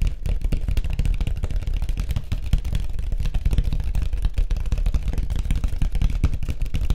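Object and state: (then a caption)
Surfboard. Fingertips tap rapidly on a white surfboard in a steady, dense stream. Each short hollow tap dies away almost at once, leaving a continuous low, thumping patter with very little bright content.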